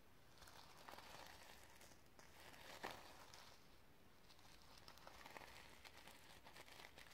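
Fingertips and long nails scratch and tap the sequins on a sequin fabric notebook cover. The result is a quiet, continuous crinkly rustle with bright, scratchy texture, broken by soft ticking taps and one sharper click near the middle.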